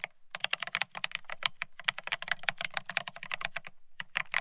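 A Bear65 mechanical keyboard with blank white matte ceramic keycaps (Cerakey) on a steel plate, resting on white cloth, is typed on rapidly with the fingertips of both hands. A quick, steady run of bright, hard clacks with very short decay is heard, with a soft low thump under each press. The typing pauses briefly near the end before a few final strokes.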